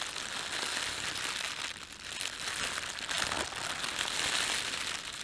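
Fingertips rub and crumple the thin film of an empty, red printed plastic bread bag. A continuous, bright crinkling crackle fills the clip, mostly high with almost no low end. It holds a steady level apart from a brief dip near the two-second mark.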